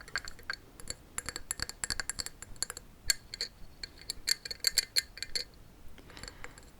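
A pot filled with saved corks, given as a going-away present, is tapped in quick, irregular bursts. The taps give short, bright clinks with a high ringing tone that die away almost at once.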